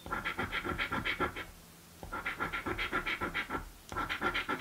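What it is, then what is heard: Scratch-off lottery ticket being scratched. A coin scrapes the scratch-off panels of a blue paper scratch lottery card in quick, rhythmic back-and-forth strokes. The bright, raspy scratching has a steady tonal edge near 1.4 kHz and comes in three bursts, about 24 strokes in all, separated by two short pauses.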